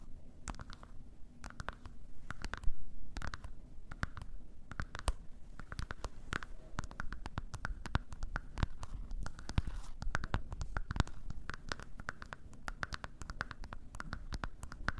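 Long nails tap and scratch a dark plastic TV remote with buttons, held in both hands. Dense, quick clicks and taps sound over a soft, low thumping body, with brief scratching passages between them. Each tap is short and dry with almost no ring.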